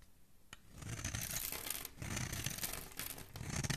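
A solid green oval soap bar, palm-sized and held in one hand, is scraped and carved with a metal blade, shaving off crumbly flakes. Soft, dry scraping and crumbling sounds come in overlapping bright strokes that swell from quiet to steady. A sharp tick is heard near the start.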